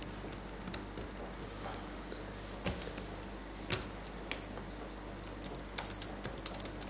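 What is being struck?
Plastic laptop keyboard keys.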